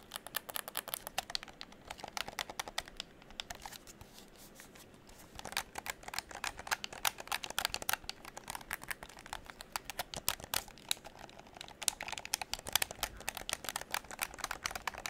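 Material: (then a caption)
Plastic. Fingertips rapidly click the buttons and tap the shell of a hollow pink plastic game controller held close to the microphone. Dense, bright, dry clicks and taps run throughout with almost no low end, easing into a brief quieter stretch around the fourth and fifth seconds before the busy clicking resumes.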